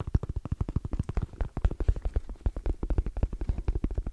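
Fingertips tap fast and nails scratch along the edge and face of a small, closed, hollow black zippered hard case with orange trim and a fabric-covered EVA shell. The result is a rapid, rhythmic run of deep, dull, muffled thumps that stop short with almost no ring.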